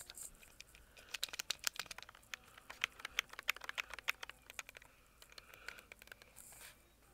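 A white plastic, tablet-sized Logitech G Cloud handheld game console is held in both hands while fingertips tap and scratch its back shell. Quiet, crisp, bright taps fall in quick, uneven bursts over a soft scratchy rustle, with brief brushing swipes near the start and end. Each tap is dry and stops at once, with no ring.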